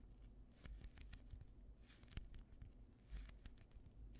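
A hand-sized, solid, soft polyurethane foam squishy toy shaped like a slice of white bread is squeezed and pressed with the thumbs and fingertips. This gives a quiet, steady, low rumbling of handling noise. Soft crinkly, crackling squishes with brief bright clicks run through it.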